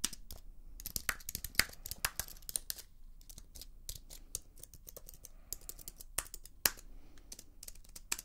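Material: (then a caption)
Plastic. Long nails tap and scratch the plastic keys of a slim white keyboard with an aluminium frame, held upright in one hand. The result is a quiet, irregular run of sharp, bright clicks with very short decay, mixed with soft scratchy rasps between them.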